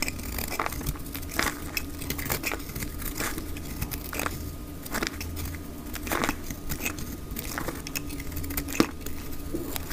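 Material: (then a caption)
Soap. A pink dry soap bar is shaved along its edges with a black utility blade, curling off pink shavings, played at double speed. Dense, dry crackling and crisp scraping bursts come in quick succession over a steady low hum.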